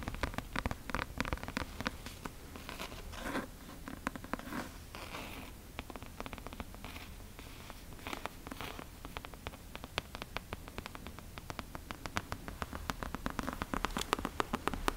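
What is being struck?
Leather-covered book.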